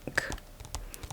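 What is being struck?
Hardcover book.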